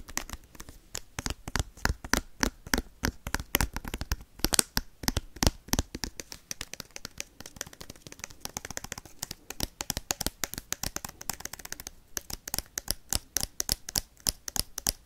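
Metal paperclips worn on the fingertips rapidly tap and scratch a sealed foil Pokemon booster pack containing cards. The result is a dense, irregular stream of sharp, bright clicks and crinkly scratching over about fifteen seconds.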